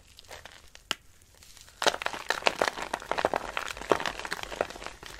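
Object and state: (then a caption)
Dry soap shavings crushed by hand. Dry soap shavings are grabbed, crushed in the hand, and rubbed with the palm. A few soft, scattered crinkles and a single sharp snap give way after about two seconds to a dense run of dry, crisp crunching and crackling. The crackling stays bright, with almost no low end.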